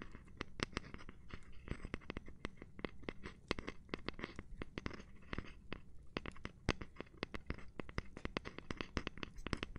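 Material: Cork.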